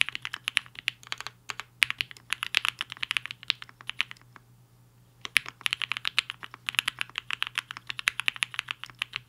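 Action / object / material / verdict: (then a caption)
tap / mechanical keyboard with plastic keycaps / plastic / none. Fingertips of both hands type on a black-cased HI-FINGER 7.5, a 75% mechanical keyboard with a hollow case and white and pink plastic keycaps, resting on a desk mat. Rapid, bright, clacky keystrokes come in dense bursts with a brief pause around the middle. Each click is dry and very short, with almost no ring.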